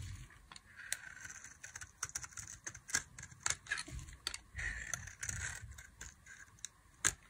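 A box-cutter blade slices fringe strips into the face of a solid, palm-sized bar of dry beige soap. Crisp, bright scraping strokes alternate with sharp clicking ticks as the blade cuts through. Each sound stops almost instantly, with no ring.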